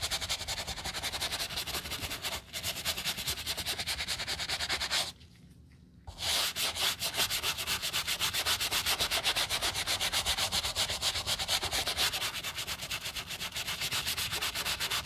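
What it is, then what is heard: White leather sneaker being brushed. A wooden block bristle brush scrubs the side upper of a white leather sneaker with a little foam. It makes a steady, bright, hissing scrub of quick back-and-forth strokes, about four per second. The scrubbing briefly drops out for about a second near the five-second mark, then carries on at the same pace.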